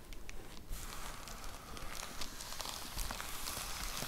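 Long nails tap and scratch across the surface of a white plastic poly mailer envelope with a box inside. A continuous crinkly, scratchy rustle fills the clip, with bright crackling and soft, dull taps rising above it.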